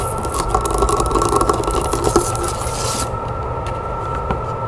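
Long nails tap quickly on the back and handle of a wooden hand mirror lying face-down on a table, giving light, dry clicks and scratchy rubbing over a steady low hum. A bright hiss runs under the first three seconds, then drops away while the soft tapping continues.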